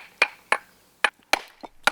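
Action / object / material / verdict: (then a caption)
strike / quarried stone struck with a hammer / stone / flawed. A hammer strikes a quarried stone being tested as raw material for an inkstone, giving five hard, short knocks and one lighter tap, each dying away almost at once. The knocks are dull and thudding rather than a clear, bright ring, showing the stone has a flaw or grain line somewhere and is defective.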